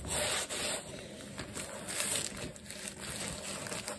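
A black leather sneaker upper with metal eyelets, wet with soap lather and held in hand, is scrubbed with a wooden-handled natural bristle brush. Steady, bright, scratchy brushing comes with soft wet lathery hiss, rising and falling slightly as the strokes continue.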